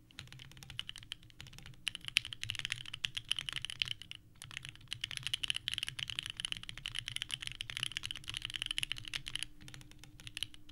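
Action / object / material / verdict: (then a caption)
tap / mechanical keyboard with plastic keycaps / ABS plastic / none. Both hands type continuously with the fingertips on a small 65% mechanical keyboard with a purple case and white ABS keycaps, resting on a desk mat. A dense, rapid stream of short, clacky key presses with a bright click around 3 kHz fills the clip, pausing briefly near the 2- and 4-second marks before resuming.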